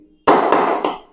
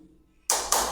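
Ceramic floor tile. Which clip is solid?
The second.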